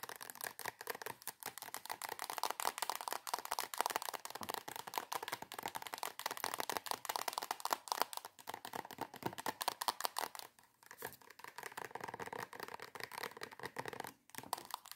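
Long acrylic nails tap and scratch rapidly on the surface of a filled soft plastic squeeze tube of coconut body cream. The dense, dry clicks and crinkly scratches run almost without pause, briefly dropping away near 10.5 and 14 seconds.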